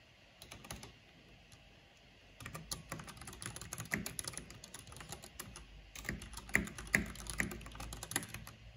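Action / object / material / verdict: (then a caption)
tap / plastic mechanical keyboard / plastic / none. Fingertips and long painted nails type fast on a black plastic mechanical keyboard with a purple backlight. A few sharp taps come first, then a short quiet pause, followed by a steady stream of rapid, bright plastic clacks with louder strikes scattered throughout.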